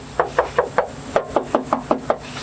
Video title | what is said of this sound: THE RWMGB pt.1: I BOUGHT AN ABANDONED MGB GT | this rocker sounds like metal which is great